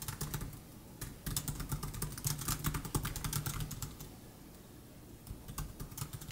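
Fingertips type continuously on the plastic chiclet keys of a 2015 MacBook Air laptop keyboard, producing quick, dry, bright clicks in irregular bursts. The typing briefly pauses just before the one-second mark and again from about four to five seconds, under a steady low hum.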